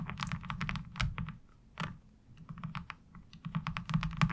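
Long acrylic nails tap and scratch a thin, hollow-backed, light blue molded plastic laundry washboard with a diamond-textured surface as it lies on fabric. Quick, irregular clicky taps come in bursts, with a low hollow thump under bright, short plastic clicks and brief scratching passes. Each tap dies away almost at once.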